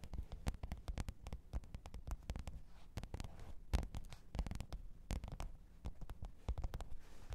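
Long pointed nails tap and scratch the top of a black, textured faux-leather hard-shell microphone case with a zipper, lying flat on fur. Rapid, uneven taps land as soft, muffled, low thumps with short dry clicks. Faint scratching fills the gaps, and each tap dies away almost at once.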